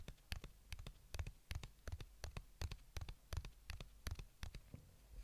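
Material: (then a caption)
Plastic. A small white plastic AirPods earbuds charging case is held in one hand while the fingertips and nails of the other hand tap and scratch its surface. The result is a quiet, rapid, uneven series of short, dry clicks and taps with soft scratching between them.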